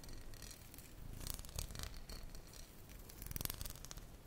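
Fingernails tap and scratch the glass bottom and paper label of a tall glass bottle full of tomato passata, held sideways. Soft, quiet scratching with a low rumble runs throughout, broken by short, bright clicky taps that ring for only an instant.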